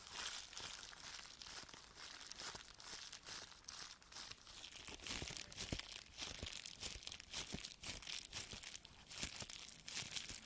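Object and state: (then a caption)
Plastic bubble wrap pouch being crinkled. A small flat plastic bubble wrap pouch with a barcode label and an item inside is held in both hands while fingers squeeze, crinkle and rub it. Dense, bright crinkling and rustling runs throughout, broken by many short, sharp crackles and soft pops.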